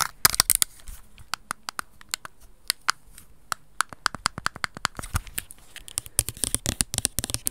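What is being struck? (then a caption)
Plastic over-ear headphones. Black plastic over-ear headphones have their earcups and headband tapped and scratched quickly with long red nails. About thirty sharp, dry, bright clicks come in uneven bursts with faint scratching between them, and each click cuts off at once with no ring.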